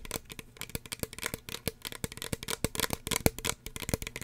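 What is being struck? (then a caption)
Small plastic spray bottle. Fingernails tap quickly on a small, hollow red plastic spray bottle with a white plastic cap. The result is a rapid, uneven string of short, dry clicks with a bright top and a light hollow body. Each tap dies away almost at once.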